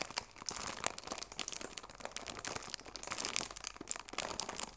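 A cellophane-wrapped cardboard tea box has its plastic wrap pressed and crinkled with fingertips and long nails. The result is a dense run of sharp, bright crackles and crinkles, mostly high in pitch with little low end. Quick snaps overlap throughout the 4.8-second clip.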